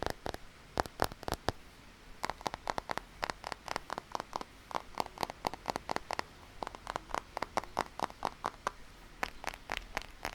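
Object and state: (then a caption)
Rubber-coated binoculars, muffled tapping. Fingertips tap repeatedly on the rubberized body of a pair of binoculars, producing short, soft, muffled clicks with almost no ring. The taps come in quick irregular bursts over about ten seconds, and the rubber coating keeps them quiet.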